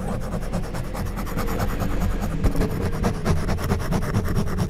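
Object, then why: Foam microphone windscreen scratched with plastic prongs. A handheld orange back scratcher's plastic prongs scratch across the top of a black foam windscreen on a silver condenser microphone. Repeated rasping strokes produce a dense, low, rubbing rumble with faint bright scratchy texture throughout.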